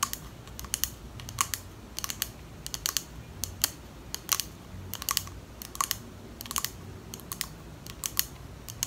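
Long acrylic nails tap quickly on a small clear glass perfume bottle with a pink plastic cap, held in both hands. The result is a run of sharp, bright, clicky taps in uneven bursts that stop almost instantly with no ringing, over a faint steady background hiss.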